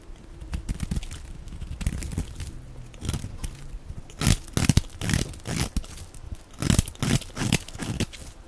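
A black cutting blade shaves strips off the edge of a dry, solid, translucent orange soap bar, palm-sized and held in the hand, in repeated scraping strokes. The strokes come as crisp, crunchy tearing and crinkling bursts with a bright edge over a low, dull rasp, growing louder and sharper toward the middle and end.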